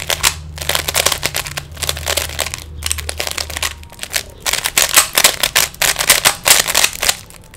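Fingertips turn the faces of a small, solid plastic 3x3 Rubik's cube, making a rapid run of sharp, bright plastic clicks and rattles that come in quick bursts. A faint low hum sits under the first half and then drops away, leaving the dense clicking alone.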